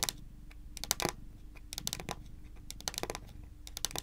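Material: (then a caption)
Wood. Long pointed nails rapidly tap a solid, dark wood-grain tabletop. The result is quick bursts of sharp, bright clicks that stop dead with no ring, over a faint low hum.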